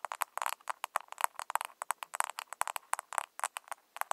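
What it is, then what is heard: Plastic blush compact. Long nails on both hands tap the lid of a small, round, pink plastic blush compact with a hollow case. The clip is a quick, uneven run of light, dry clicks centered near 1 kHz with bright edges and almost no ring or low end.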